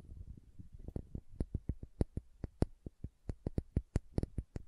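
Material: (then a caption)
Glass. Long nails scratch and then tap on the sides of a small green glass dropper serum bottle with a silver collar, held upright. A soft, low scratching rustle in the first second gives way to a run of about twenty quick, dry taps at an uneven pace. Each tap is a short click that dies away almost instantly.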